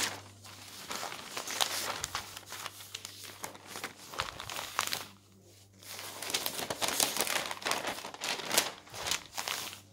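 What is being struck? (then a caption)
Newsprint newspaper pages. Thin newsprint pages of an open newspaper, held close, are turned and handled with the fingers, giving bright, dense crinkling and rustling. The handling is steady from about 1 to 5 seconds, pauses briefly near 5.5 seconds, then resumes with louder crinkles. A faint low hum runs underneath throughout.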